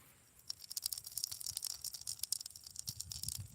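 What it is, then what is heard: Hollow geode with loose contents rattling. An almost perfectly round hollow geode stone is shaken so the loose material inside rattles against its walls. After a brief quiet start, a steady run of sharp, bright, high-pitched clicks and rattles follows, with a few duller low knocks near the end. The rattling is crisp and dry, with no ringing afterward.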